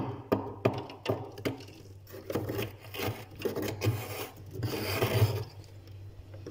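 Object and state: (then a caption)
Frost build-up in a freezer scraped. A hand scrapes and gouges a thick, solid, crusty layer of white frost ice built up on the inner wall of a freezer with a metal spoon, leaving grooves. Rough, raspy scraping strokes come in bursts with sharp crunchy onsets over a steady low hum. The scrapes are mostly low and mid in tone, with brief brighter edges.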